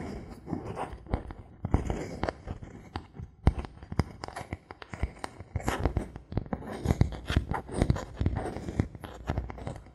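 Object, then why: Thin bamboo board. Fingernails and a knuckle tap and scratch a thin, solid bamboo board held in the hand. Many quick, dry taps with a low, hollow thump die away almost instantly, mixed with soft, brushy scratching between them.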